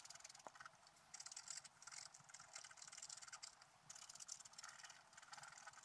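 A wooden stylus scratches the coating of a flat black coated scratch-art paper sheet lying on a table. The result is a quiet, bright, dry scratching that comes in uneven bursts of rapid rasping strokes, with almost nothing in the low range.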